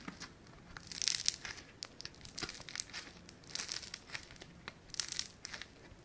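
A palm-sized, flattened, solid sheet of pink foam-bead clay (floam) is stretched and pressed by fingertips. It gives off bright, dry crackling and crinkling in short bursts, with the loudest clusters coming in waves between quieter fizzing snaps.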